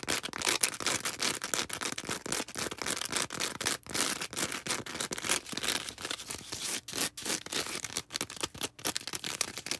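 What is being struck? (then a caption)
Foam sponge. A small, soft, porous star-shaped green foam sponge is held in the hands and scratched with long red acrylic nails. The result is a dense, fast run of bright, dry scratching and crackling bursts with almost no low end.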